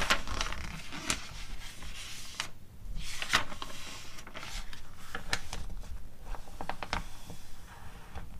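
Long acrylic nails tap and scratch the pages of an open glossy paper catalog, with a page turn partway through. Sharp, bright clicks sit over a soft papery rustle and a low background rumble, and each tap dies away quickly.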